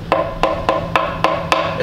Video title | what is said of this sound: Wandana Visits The Randwick Starlight Express Room | it sounds hollow inside doesn't it it sounds empty